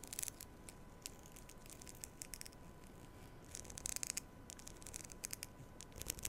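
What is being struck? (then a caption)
Plastic comb. A black plastic comb is held in front of the mic while long nails scratch and strum its teeth. The result is quiet, bright, crisp ticks and raspy flurries over a steady low background hiss, with a faint steady tone near 1 kHz.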